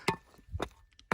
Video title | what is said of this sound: Desert Prospecting. Where to find Gold | Listen to those soft zones. That soft stuff is what will just split apart easy.